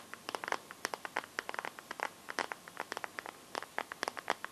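Fingertips and painted nails tap and scratch the back of a hand-sized Samsung smartphone in a transparent teal plastic case. About thirty quick, dry plastic clicks and ticks come in an uneven flurry, each dying away almost instantly with a bright edge. The taps are quiet, with no low end beneath them.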